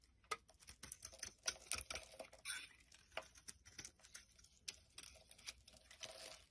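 A utility knife blade carves the edge of a solid green bar of soap into flaky shavings. Quick, dry scraping and crackling strokes follow one another irregularly, each bright and crisp with almost no low end and no ring. The sound is quiet overall.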